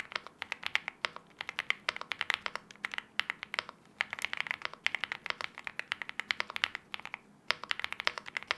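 Both hands type continuously with their fingertips on a LEOBOG Hi75 aluminium-case 75% mechanical keyboard (KTT Wine Red) with wine red plastic keycaps. The result is a rapid, steady stream of short, crisp key clacks with a bright tone centered around 2 kHz, with almost no low end and no lingering ring.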